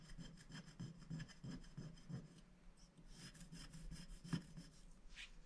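A wooden stick scratches the black coating off a thin, flat scratch-art paper sticker sheet that lies on a glass board while a hand holds the sheet. A quick run of dry, rhythmic scratching strokes over a low tone settles into softer, steadier scraping, with one sharper scratch near the end.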